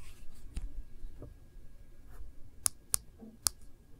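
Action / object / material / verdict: tap / smartphone in plastic case / plastic / none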